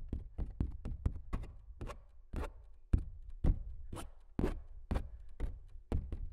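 Fingernails on both hands tap and scratch the coated surface of a large stretched canvas print that is hollow behind. The result is a quick, irregular series of dull, low, drum-like thumps, each with a bright, crisp click on top. Every hit dies away almost instantly.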